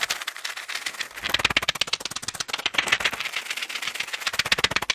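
A small, flat pill blister pack, with plastic bubbles on a foil backing, is held in the hands close to the microphone while fingertips and nails tap, scratch and crinkle it. Fast, irregular streams of crisp, bright clicks and crackles come in quick bursts, dry and with almost no low end.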